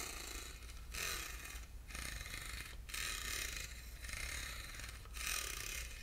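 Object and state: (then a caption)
Ribbed aluminum box scratched. Short fingernails scratch across the grooved sides of a small, hollow, silver ribbed aluminum box held in the hand. The result is a series of bright, raspy strokes, each lasting just under a second, with brief quiet gaps between them. A faint low hum sits underneath throughout.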